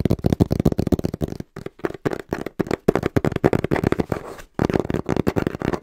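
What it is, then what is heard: Hollow cardboard box. A small, hollow brown cardboard box is held upright in both hands while fingertips tap quickly and rhythmically on its printed face. The taps are short, dull, hollow knocks with a low-mid body and almost no ring. They come in rapid bursts separated by brief pauses.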